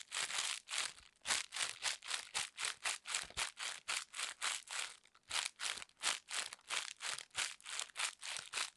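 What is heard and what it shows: A wad of thin, clear, crinkly plastic wrapping film is held in one hand close to the camera while fingers with long red nails squeeze, scrunch and rub it. The result is a rapid, uneven series of bright, crackling crinkle bursts with almost no low end and very short decay.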